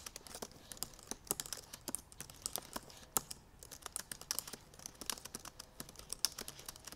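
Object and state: Laptop keyboard with plastic keys.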